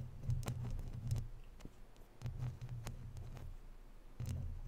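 Fingertips rub the sides of a hollow, round woven metal mesh microphone grille, then long nails scratch across the mesh. The result is a close, muffled low rumble around 110 Hz, broken by brief bright scratchy ticks and a few soft dull thumps.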